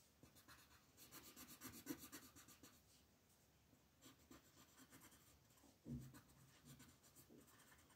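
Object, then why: Wooden colored pencil on a paper coloring page. An orange wooden colored pencil, held by a hand with long nails, rubs and shades across a thin printed paper coloring book page lying flat. It makes quick, soft, scratchy strokes in two bursts with a short quiet pause between them. A duller, louder low bump comes near the end of the second burst.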